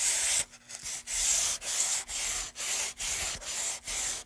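A light, solid pine moulding board about 30 cm long is held in gloved hands and rubbed with a small piece of sandpaper along its carved groove. Repeated back-and-forth strokes make a bright, airy scratching hiss with short quiet gaps between them and almost no low end.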